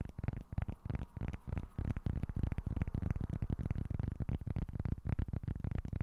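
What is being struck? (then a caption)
Small flat cork board. Short fingernails scratch a small, flat, solid cork board held at a tilt, making a fast run of dull, rough scraping strokes. The sound is heavy in the low end with almost no bright edge, and each stroke dies away almost at once.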